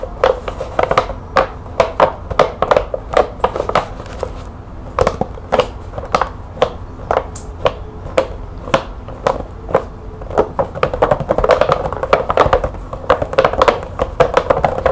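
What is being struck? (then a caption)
Cardboard box with bulbs inside. Long painted fingernails tap and scratch on top of a medium-sized, hollow, green printed cardboard box of CFL bulbs with a clear plastic window, held with the bulbs inside. A rapid run of short, dry, papery taps with a hollow midrange tone around 590 Hz is heard. Soft scratching fills the gaps, and each tap dies away almost at once.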